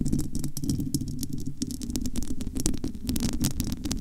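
Long almond-shaped nails scratch and tap the bare, hollow, domed metal wire-mesh grille of a large studio microphone. The result is a dense, continuous stream of close-up scratching and tapping, heavy in low, rumbling thumps with a hum near 250 Hz. Quick bright crackles cut through the low end.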